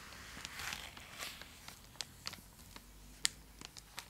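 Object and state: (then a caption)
Foil-lined plastic chocolate wrapper, crinkled and tapped. A full, large purple Cadbury Dairy Milk block in a foil-lined plastic wrapper is held beside the face and scratched and tapped with long acrylic nails. Soft, bright crinkling runs under a series of sharp, dry clicks and taps, with the sound concentrated high up and almost no low end.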